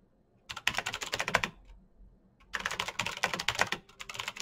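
Fingertips type fast on a black plastic mechanical keyboard with RGB-lit keycaps and clicky green switches, held still on a desk. Two bursts of rapid, bright, crisp key clicks with very little low end are split by a short pause. Each click is sharp and dies away almost instantly.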